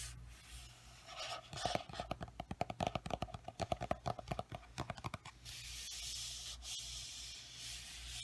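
A large paperback coloring book is held upright while its paper cover is rubbed and brushed with a flat palm and fingertips, a ring on one finger. A soft papery hiss leads into a quick run of dry, scratchy strokes and taps with a faint tone around 700 Hz. It then settles into a steady, bright rubbing hiss.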